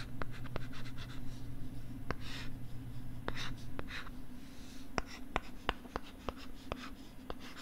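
A stylus writes and scratches across the screen of a pink plastic LCD writing tablet held close to the microphone. Soft, airy scratching strokes are broken by sharp, clicky taps at an irregular pace, over a steady low hum.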